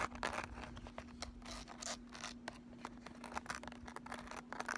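Long nails scratch across the ridged, embossed lid of a handheld flat makeup palette case. The result is a rapid series of short, dry, bright scratching clicks and rasps, with a faint steady low hum underneath throughout.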